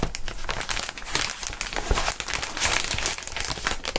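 Clear plastic air column cushion wrap is squeezed and crushed between gloved fingers, its air tubes deflating with a steady stream of bright, dense crinkling and crackling. Short crisp bursts overlap continuously over a low rumbling undertone, with no quiet gaps.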